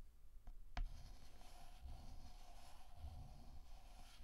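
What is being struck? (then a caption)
Chalk stick on a chalkboard. A hand draws with a stick of pink chalk on a flat black chalkboard that already has a flower drawing on it, rubbing and scratching the tip across the surface in short strokes and dots. Two quick taps, the second sharper, are followed by a faint, steady scratching over a quiet low rumble.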